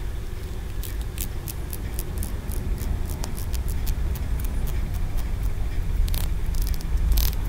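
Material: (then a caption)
Stone. Fingertips and nails tap and scratch the ridged tiers of a small, solid green aventurine stone pagoda tower, a Wenchang feng shui figurine held in the fingers of both hands. Short, bright clicks and scratchy rasps sound over a steady low rumble that grows slightly louder toward the end.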